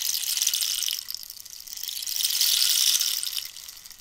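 Long nails scratch and tap the ridged, holed wood surface of a long, hollow dried-cactus rainstick while it is tilted. The result is a bright, high, rain-like hiss with fine, rapid ticking and almost no low end. It swells loud at the start, dips, rises again past the midpoint, then fades out.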